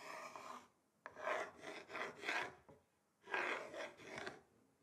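The tips of two thin wooden sticks rub and scratch across the grain of a large, flat, solid wooden chopping board. The result is a series of short, dry, raspy scraping strokes separated by brief pauses, with a bright midrange texture and almost no low end.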